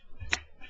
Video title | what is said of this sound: Card Collection August 4th 2009 part 3 | thick, very thick, and you can hear it so loud when you flick it